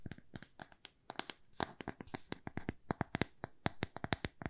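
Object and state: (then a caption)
Thin plywood coaster. A small, thin, solid square plywood coaster is held and turned in the hands while long nails tap and scratch it. The result is a quick, irregular run of dry, clicky taps that stop dead with no ring, mixed with brief, bright, scratchy strokes, all at a soft level.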